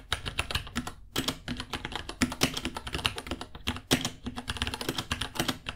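Both hands type with their fingertips on a small white 66-key mechanical keyboard with Gateron Brown switches ($60), white plastic keycaps, a hollow case and pink underglow, resting on a white desk. A rapid, uneven stream of bright plastic clacks carries a low, hollow thock underneath. A brief pause near the one-second mark breaks up the fast, dry taps that end almost instantly.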